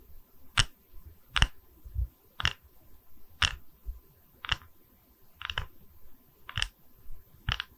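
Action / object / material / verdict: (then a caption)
tap / wooden log slice coaster / wood / none. Long red nails tap and scratch the cut face of a small, solid, round wooden log-slice coaster with visible growth rings, held in both hands. A slow, evenly spaced series of short, dry, bright clicks is heard, some doubled, each dying away almost instantly with no ring. Soft low thumps sit beneath the clicks against a quiet background.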